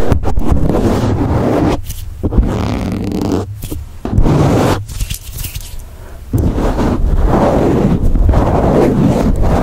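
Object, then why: Foam microphone windscreen. A black foam windscreen on a microphone is squeezed, rubbed and scratched with thumbs and fingertips. The result is a dense, muffled, bass-heavy crackling and scraping with brief quieter gaps. No count is given because the hits run together.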